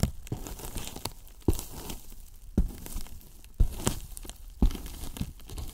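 Wooden brush handles scratch the top of a large white hollow polyethylene foam box, then tap its sides. A dry, crinkly scratching rustle runs throughout, broken by about five short, low, hollow thumps that stop almost instantly.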